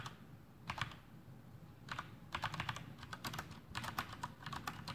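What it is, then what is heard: Plastic mechanical keyboard. Fingertips of both hands type continuously on a full-size black plastic Masterkeys Pro M mechanical keyboard with Cherry MX Brown switches and blue backlit keycaps, resting on a desk. Quick, short, bright clacks arrive in uneven bursts over a soft low thump, each keystroke dying away almost instantly.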